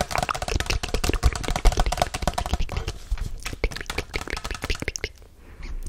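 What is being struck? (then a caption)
Paper cup. Long nails tap and scratch the printed side of a hollow white Chipotle paper cup held close to the mic. The result is a rapid, dense patter of short, dull, low-heavy taps mixed with dry scratchy rustling. The tapping thins out and grows sparser toward the end before trailing off quietly.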